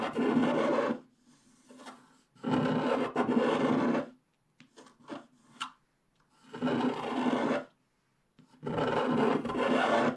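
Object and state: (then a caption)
Scratch-art paper being scraped. A wooden stylus scrapes off a large area of the black coating on a unicorn drawn on a flat, coated scratch-art paper page. Four long, rough, rasping scrape passes are heard, separated by brief, faint scratches and near-silence.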